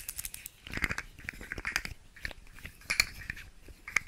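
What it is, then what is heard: Plastic fidget slug toy. Long nails tap and scratch a hand-sized, segmented rainbow plastic fidget slug toy, making its segments click. The result is a quick, uneven run of dry, bright clicks and light scratches with almost no ring; the sharpest taps land near the three- and four-second marks.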